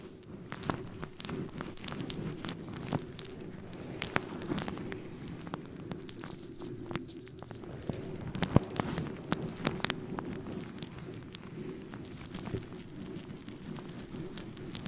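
Fingertips of both hands scratch and rub a fluffy synthetic faux fur microphone windscreen close to the mic capsule. The result is a continuous, dense, crackly rustle, heavy in the low-mids, with many sharp clicks and pops scattered throughout.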